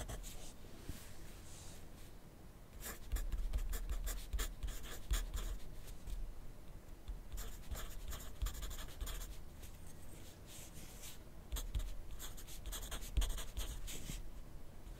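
A graphite pencil tip writes continuously on a thin lined paper notepad lying flat on a wooden desk. Soft, dry scratching strokes come in uneven bursts, growing louder and busier around the middle and again near the end. A low, steady hum sits beneath the writing throughout.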